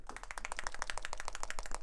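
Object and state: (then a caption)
Paint pot with metal mixing ball rattling. A plastic dropper-lid paint pot is shaken, and the metal agitator ball inside rattles in a rapid run of sharp, clicking taps. The ball mixes the paint into a smooth colour.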